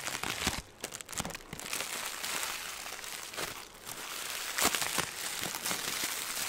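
A ball of green crinkly plastic film, held in the hands, is squeezed and crinkled with the fingertips. It makes a dense, bright crackling and crinkling with sharp snaps and almost no low end, steady in level with a few louder crunches.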